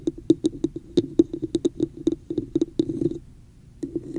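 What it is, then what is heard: Hollow plastic cup. Long acrylic nails tap and scratch the sides of a hollow, empty red plastic cup with a raised woven pattern, set upside down over the microphone. About twenty quick, hollow, dry clicks ring with a low-mid resonance and die almost instantly, with brief bright scratchy texture between them. A short quiet pause follows before a few softer taps resume.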